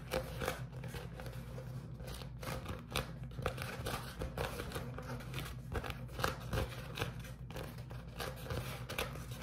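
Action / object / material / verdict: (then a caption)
scrape / beeswax-coated cotton food wrap / waxed cotton / none. A sheet of beeswax-coated cotton food wrap is bunched in both hands and squeezed and crinkled by the fingers. It gives a steady run of short, dry crinkling and crackling bursts over a low, constant hum, with the bright rustles rising and falling as the wrap is worked.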